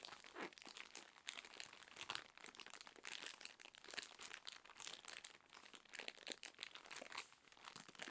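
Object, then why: Cotton pads wrapped in thin plastic film. A soft, full cylindrical roll of cotton pads wrapped in thin, crinkly plastic film is held in both hands and scratched and squeezed with long acrylic nails. The result is a steady, dense crinkling with quick bright crackles and scratchy bursts, mostly high-pitched and with almost no low end.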